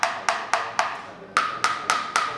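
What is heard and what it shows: A metal car-damping demo panel, covered with a combination of thick red and thin green damping material, is knocked eight times. Each knock is a short, dull, wood-block-like tock that dies away in about a tenth of a second. The last four knocks carry a slightly brighter tone, and this thick-and-thin combination damps the panel better than using thick material everywhere.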